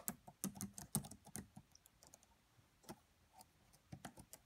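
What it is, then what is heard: Plastic laptop keyboard. Fingertips with medium-length nails type quietly on the black plastic keys of a red laptop keyboard. Soft, dry, short clicks come in an irregular flurry, ease into a quieter stretch in the middle, then pick up again toward the end.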